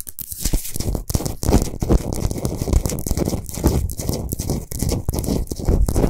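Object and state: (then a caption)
Himalayan salt lamp being scratched. Long nails of both hands scratch fast over a large, solid Himalayan salt sphere lamp lit from inside. The result is a dense, continuous run of rough, crunchy scraping with a heavy low rumble and bright, gritty edges, pulsing as the strokes change.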